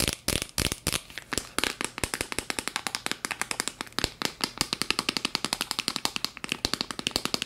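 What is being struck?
Small plastic jar.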